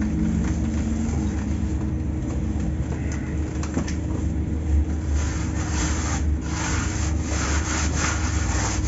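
Soft, dry chunks of pure cement are crushed with bare fingertips and palms and rubbed through a round steel-mesh sieve about 30 cm across, turning into dusty grey powder while cement blocks sit still nearby. A steady, low, gritty rubbing and crumbling continues throughout, with brighter scratchy bursts of grinding against the mesh in the second half.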